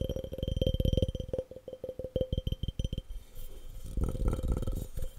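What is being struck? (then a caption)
Glass object. A glass object is tapped fast and aggressively in quick bursts of short, dull knocks with a steady ringing tone near 500 Hz and a faint brighter ring above. After about three seconds the taps give way to a rougher, continuous rubbing texture with a few knocks, and each hit dies away almost at once.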